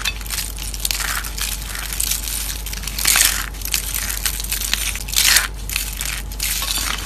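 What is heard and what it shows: Dried orange soap curls in a white plate are squeezed and crushed by hand into crumbs. A steady, bright, dry crackling crunch runs throughout, swelling into louder bursts of crumbling about three seconds in and again near the end.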